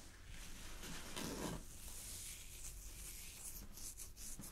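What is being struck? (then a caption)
Thin sheer chiffon fabric. Long glittery fingernails scratch and pluck a loosely draped piece of thin, sheer purple chiffon fabric. The result is a quiet, steady rustle with a bright, hissy top and a low rumble underneath, swelling into a louder, fuller scrape about a second in. Short sharp flicks of sound follow near the end.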